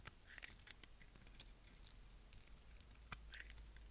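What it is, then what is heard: Dry bar soap. A narrow dark block of dry bar soap is held in the fingers while a utility knife blade cuts and scrapes curls off it. Quiet, crisp scraping and short bright crackles come in rapid bursts over a low steady hum. A sharper snap is heard near the end.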